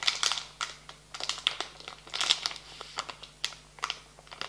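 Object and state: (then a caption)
Plastic candy bag crinkling. A full, medium-sized printed plastic foil bag of marshmallow candies lying on a table is pressed and rubbed flat with fingertips and palms. It makes a stream of sharp, bright crinkles and crackles that come in uneven bursts. Each crackle stops almost instantly, with no low rumble beneath.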